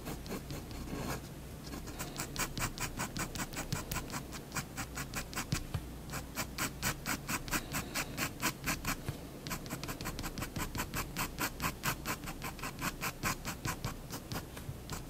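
A fineliner pen makes quick scratching hatch strokes across a drawn cushion on a white paper sheet resting on a desk. It gives a fast, steady run of short, bright, rasping strokes over a low background hum, with brief pauses near the start and the middle.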